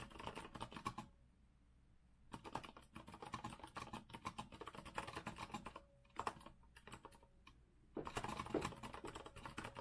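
Rapid, clacky keystrokes come from a compact retro Azio mechanical keyboard with a rose-gold metal frame and round plastic keycaps, sitting on a wooden desk as fingertips from both hands type continuously. The bright taps arrive in quick bursts, broken by short pauses near the start, middle and late in the clip, before a dense final flurry.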